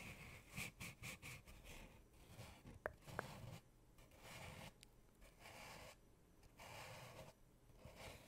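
Long painted nails scratch and tap along the side of a hollow, empty brown cardboard tube held upright beside the microphone. Quick dry, bright scratching bursts give way to a couple of sharp, short taps. Longer, softer scraping sweeps follow, with a faint low hollow body underneath.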